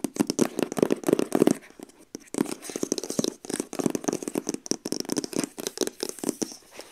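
Long acrylic nails tap rapidly and trace over the printed product image on a long, hollow printed cardboard sleeve from a TYMO Ring box resting on a lap. The result is a quick run of dry, hollow papery taps with a warm low-mid body, interspersed with soft scratchy tracing, broken by brief pauses around two and three and a half seconds.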